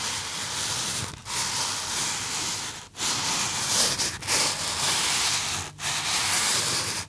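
Fingertips rub and squeeze a small white polystyrene foam box held up in both hands. A steady, bright, hissy squeaking and scratching of foam fills the clip, broken by a few brief pauses where the rubbing lets up before it starts again.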